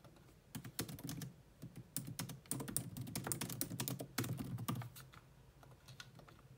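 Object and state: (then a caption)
Plastic laptop keyboard being typed on. Long nails type fast on a grey laptop keyboard with low-profile plastic keys, sometimes with both hands. Quick, irregular bursts of clicky taps each carry a bright tick over a low plastic thud. The typing grows dense in the middle, then thins into softer, scattered taps toward the end.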